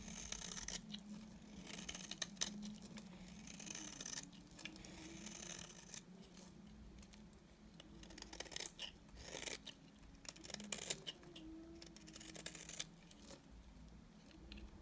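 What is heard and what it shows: A utility knife blade shaves the edge of a solid, dry, cream-colored bar of soap held in the hand. Crisp, bright scraping strokes come in quick bursts over a faint low hum, with quieter gaps between the passes.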